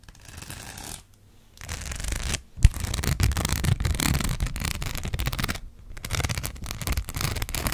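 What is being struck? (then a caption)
Sheet of plastic rhinestone stickers scratched with acrylic nails. Long black acrylic nails scratch across the studs of a thin, flat gold rhinestone sticker sheet. Dense, bright, gritty scratching comes in bursts with brief pauses, including one sharp tap near the middle.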